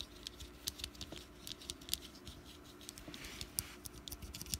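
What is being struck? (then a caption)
Small wax pumpkin candle. A small solid orange wax pumpkin candle is scratched with long nails and fingertips and rotated slightly on a mat. The result is a quiet, dense stream of bright, dry scratches and short clicking ticks over a faint steady low hum, each tick stopping instantly with no ring.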